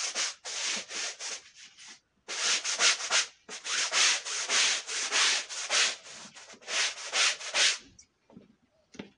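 A long-handled push brush scrubs powder into a dirty, faded red woven wool Persian rug with a steady run of bright, hissing back-and-forth bristle strokes. Two short pauses break the scrubbing before it stops and trails off into a few faint scratches.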